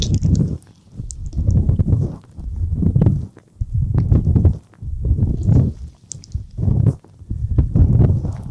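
Fingertips rub and tap the soft silicone ears of a dual-ear binaural microphone, with both hands on the mic ears. The result is deep, muffled, close-up rumbling swells in irregular bursts of about a second, separated by brief near-silent pauses, with faint bright crackles on top.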